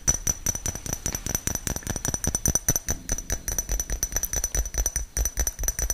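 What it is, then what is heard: Small glass jar tapped and scratched with fingernails. A small, clear, apparently empty glass jar or shot-glass-like container is held in one hand close to the microphone and tapped and scratched with the fingernails of the other hand. Quick, uneven clicks and taps with some scratching run throughout, over a thin, steady high ringing tone from the glass.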